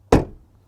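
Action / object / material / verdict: strike / car door / steel / solid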